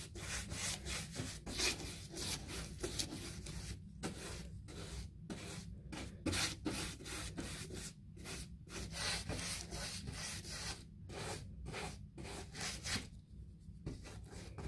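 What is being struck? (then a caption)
Molded fiberboard six-panel interior door. A hand sweeps a bristle paint brush in repeated strokes across a raised panel of a large white textured six-panel interior door, a molded composite door, likely hollow-core molded fiberboard, lying flat. The strokes make a steady, scratchy, bright rubbing with a low rumble underneath, broken by brief pauses between bursts.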